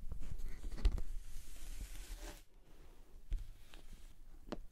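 Long nails scratch and tap the end and front surface of a hollow pink glossy PVC cosmetic bag, first lying on its side and then held upright. A bright, rasping scratch runs for about two seconds over dull, low thumps, then gives way to quieter, scattered taps with short, hollow knocks.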